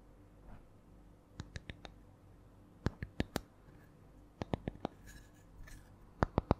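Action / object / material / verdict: tap / spiral wooden coaster / wood / none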